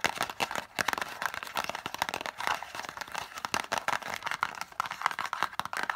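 Long nails tap and scratch rapidly on a small, hollow green and white cardboard lozenge box held upright. The result is a dense stream of dry, clicky taps mixed with crinkly scratching, centered in the midrange around 1 kHz with bright edges. There is almost no low end, and each tap stops instantly with no ring.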